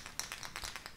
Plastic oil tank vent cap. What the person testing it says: when you shake it you can hear something rattling around